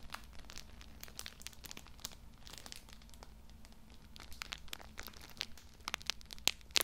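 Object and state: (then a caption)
Plastic-wrapped tissue pack, crinkled. Both hands grip a small, soft, full multipack of pocket tissues wrapped in thin plastic film, crinkling and rubbing the wrapper with the fingertips. Bright, dry crinkles and sharp crackling snaps come in quick, uneven bursts over a faint low hum, with the loudest pops near the end.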